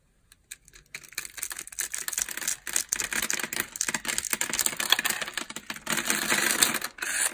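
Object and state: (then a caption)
Dry bar soap. A metal utility-knife blade scrapes and shaves the cross-hatched surface of a solid rectangular yellow bar of dry, scored soap held in the palm, and crumbly flakes fall off. The result is a dense run of dry, crisp crackling and crunching scrapes that is bright and almost free of low end, with quick bursts that stop short and have no ring.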